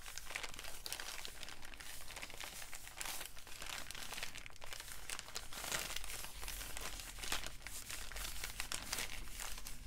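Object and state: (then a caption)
Crumpled paper bag. An empty, crinkled brown kraft paper bag is crumpled and pinched with fingertips, producing a steady stream of dry, bright crinkling and crackling with occasional sharper tearing-like crunches. It plays over a constant low hum at a quiet, even level.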